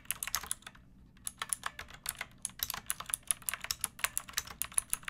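Long painted nails and fingertips type on a pink plastic mechanical keyboard with round backlit keycaps and a hollow body. About 31 quick, bright, hollow clacks with almost no ring rattle out in a steady stream, with one brief pause near the start.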